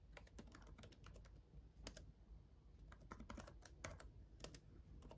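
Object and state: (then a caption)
Plastic laptop keyboard being typed on. Both hands type steadily with their fingertips on the solid, red-backlit plastic keys of a black gaming laptop keyboard. Quick, bright clicks and taps come in irregular runs over a low background rumble, each tap dying away almost at once.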